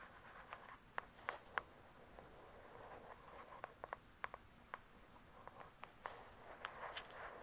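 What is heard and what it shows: Long acrylic nails tap and scratch across the glossy paper-covered cardboard cover of a thick, solid hardcover book lying flat. Sharp, irregular clicky taps ring around 1 kHz with bright edges and die away almost instantly, over a soft, steady scratching hiss. The overall level stays quiet and close.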